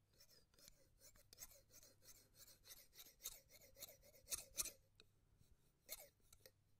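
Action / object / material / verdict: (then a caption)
scrape / steel scissors / steel / none. Steel scissors with red handles are held close to the microphone, their blades sliding against each other in slow snipping and rasping motions. The result is a steady run of soft, bright, airy scrapes and short metallic snips with little low end. A few louder snips stand out near the end.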